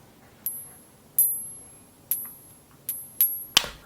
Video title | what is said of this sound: 4 Ways to Identify Silver in Your Pocket Change | even coins with that low amount of silver will have a very distinctive ring to it